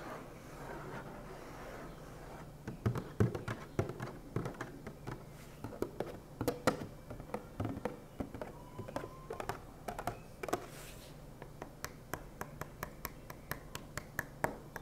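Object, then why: Plastic milk jug. Fingertips and nails scratch and tap a hollow white opaque HDPE plastic gallon milk jug with a red cap, working over its surface and handle area with some handling near the cap. A soft, steady scratching opens the clip, then sharp, dry taps with a low hollow thump break in. The taps continue at an irregular pace and settle into a quicker, more even run toward the end, each one dying away almost at once.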